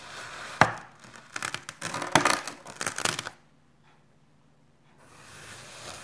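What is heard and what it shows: A red plastic knife cuts through a small solid cube of dark grey kinetic sand on a white surface. A soft, steady hiss gives way to a sharp crunch, then a run of gritty, bright crunching and crackling bursts as the blade slices through. The sound then drops to near silence before a faint hiss returns.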